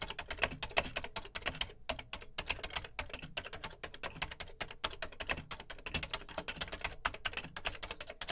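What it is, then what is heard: Plastic home computer keyboard being typed on. Fingertips type steadily on the dark plastic keys of a beige plastic Commodore VC 20 home computer keyboard. A rapid, continuous run of short, bright clicks and clacks, each dying away almost instantly, with a light low thump beneath the keystrokes.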